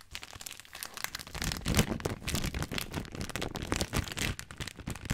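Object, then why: Plastic film pasta bag. A full plastic-film spaghetti bag, held horizontally in both hands, is squeezed and crinkled with the fingertips. The result is a dense, continuous stream of bright, crisp crinkling and crackling with a soft low rustle underneath, swelling and easing as the grip shifts.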